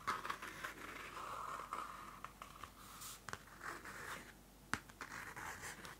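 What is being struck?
Cardboard-covered paper notebook.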